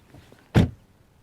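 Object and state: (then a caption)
Solid-sounding car door close. A car door is shut once, giving a single solid, low thud centered around 110 Hz that dies away quickly. The close sounds good and solid.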